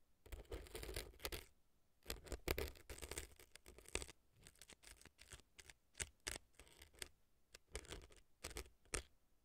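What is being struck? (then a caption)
Floral foam block inside a silicone ear, scratched with a thin earpick. A thin earpick scratches dry, crumbly floral foam packed inside the right ear of a silicone fake ear that sits on a dry floral foam block. The result is dense, dry scraping strokes that come in quick bursts, with short crackly hits, a low rumble and bright, crisp edges.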